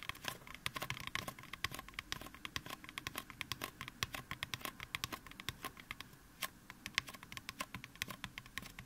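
Fingertips of both hands tap quickly on the top and upper sides of a life-sized, solid white styrofoam mannequin head. The result is a rapid, uneven patter of dry, bright clicks with no ring, over a faint steady hum near 1 kHz.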